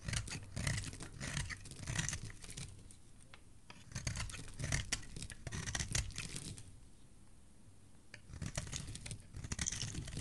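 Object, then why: Bar of soap. A utility blade shaves a solid white oval bar of soap held in fingers with dark nails, sending white shavings down below. Crisp, papery scraping and tearing strokes with a soft low rumble come in three busy bursts separated by quieter pauses.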